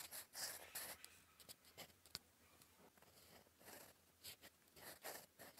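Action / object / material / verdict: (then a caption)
scrape / metal pen nib scratching a paper sheet / paper / none. A gold metal fountain pen nib, held in fingers, writes cursive on a flat sheet of cream lined paper resting on a desk. Bursts of dry, bright scratching rise and fall in short strokes with brief pauses between them. There is one sharp tick midway and almost no low end.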